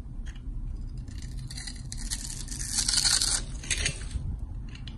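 A palm-size solid pink and white striped bar of soap is held in the hand and carved and scraped into shavings with a box-cutter blade. Dry, crisp scraping and crackling cuts come in quick, irregular strokes over a low background rumble, growing brighter and louder around the middle before easing off.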